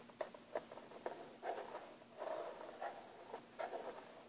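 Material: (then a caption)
Plastic. Fingertips and nails scratch and tap across the lid of a closed, hollow, black textured hard plastic airbrush case. Quiet, sharp taps alternate with short scratchy rustles, giving a dry, hollow midrange sound with almost no ring.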